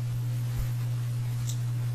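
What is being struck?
Nothing is struck.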